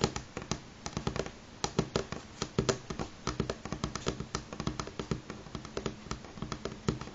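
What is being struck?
Wooden table top.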